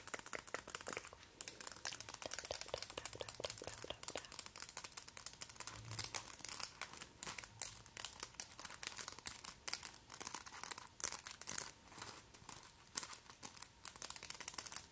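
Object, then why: Long acrylic nail extensions. Very long, pointed, hollow white acrylic press-on nails on both hands are tapped and clicked against each other by the opposite hand's nails. A quiet, continuous stream of sharp, bright clicks and crinkly taps runs throughout, with a faint low hum underneath.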